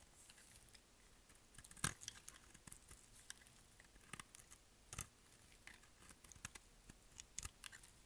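A solid, curved, mint green bar of dry soap is held in the hand and shaved with a utility knife blade. A quiet, rapid series of crisp, bright scraping and cutting ticks follows, with a few sharper snaps standing out over a faint background hiss.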